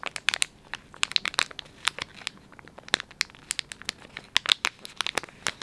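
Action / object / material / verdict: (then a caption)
scrape / soft plastic film pouch of wet wipes / plastic film / none. Thumbs and fingertips rub and crinkle the soft plastic film of a filled, palm-sized Dettol wet wipes pouch. The result is a rapid run of short, sharp crackles that are bright and high with almost no low end, each snapping off almost instantly.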